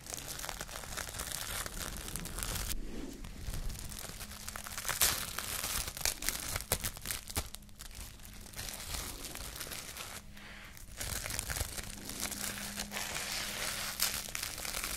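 A clear plastic cling film roll is held in one hand while its loose sheet is pulled, stretched and crinkled with fingers and nails. The result is dense, bright crinkling and crackling with occasional tearing-like rasps, and a faint low hum underneath.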